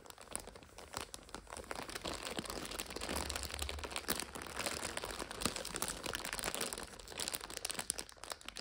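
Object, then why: Plastic multipack wrapper of instant noodles. A full plastic multipack of instant noodles is turned to different sides while long nails scratch and rub its wrapper. The result is a steady stream of dense, bright crinkling and crackling with quick, sharp snaps and a low rumble underneath.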